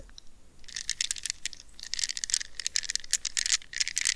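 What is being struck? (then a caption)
Rubber squeeze ball wrapped in plastic mesh. Long red-painted nails scratch and squeeze a palm-sized, solid gel-filled soft rubber stress ball wrapped in a plastic net mesh, held in both hands close to the mic. After a quiet first half second, dense bright crackling and rapid scratchy clicks come in bursts, almost all in the high range with little low end and no ring.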